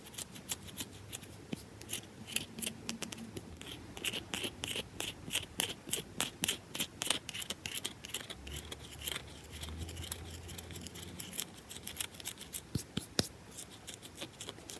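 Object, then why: Round bar of soap. Long fingernails scratch and tap quickly and aggressively on the top and sides of a round, solid bar of soap held in the hand. The result is a dense stream of sharp, dry, bright clicks and short scrapes that die away almost instantly, over a faint low hum.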